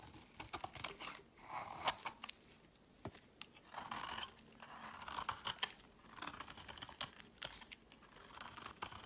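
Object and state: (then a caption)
Bar of soap being shaved. A solid white rectangular bar of soap, held in the hand, is shaved into flakes with a metal knife blade. Quiet, bright, crisp scraping strokes come in bursts, each stroke a dry papery rasp with small clicks and no low rumble.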